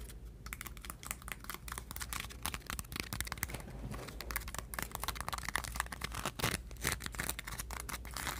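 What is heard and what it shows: Long painted nails tap and scratch the thin surface of a stack of flattened, crinkled aluminum foil sheets resting on a table. A dense run of quick, crisp clicks and bright crinkling scratches continues steadily over a faint low hum. Each tap dies away almost instantly.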